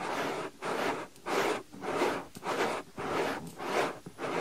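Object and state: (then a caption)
Silicone ear of binaural microphone being rubbed. Fingertips press, pinch and rub a soft white silicone ear on a binaural microphone in a fast, steady rhythm. About eight separate scratchy, rustling strokes are heard, each a broad hiss centred in the mids with a bright edge, divided by brief near-silent gaps.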